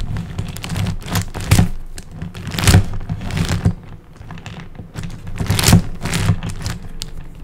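Fingertips tap rapidly on the top and side faces of a large plastic high-order puzzle cube with small colored tiles. The result is a dense, uneven run of short, dull thunks with a low, thumpy body and brief bright clicky edges, swelling in a few louder bursts.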